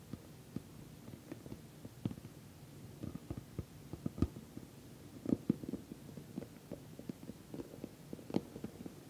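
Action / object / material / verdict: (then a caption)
tap / soft-sided patent vinyl cosmetic bag / patent vinyl / none. Long nails tap the top of a glossy orange, soft-sided, filled patent vinyl cosmetic bag. The result is a quiet run of short, dull taps and soft low plastic clicks with no ring.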